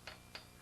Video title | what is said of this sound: FRA Steam Locomotive Daily Inspection | a tap with a hammer can indicate looseness a crack or other problem which is identifiable by sound or movement